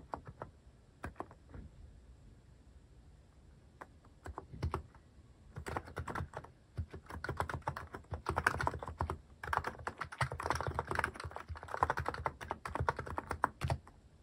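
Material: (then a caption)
Plastic. Fingertips type on a mechanical keyboard fitted with plastic cat-shaped and paw-shaped keycaps. A few scattered keystrokes open the clip, then from about 5 seconds the typing becomes fast and continuous. Each press is a short, dry clack with a low thump and a mid-pitched click that stops almost at once.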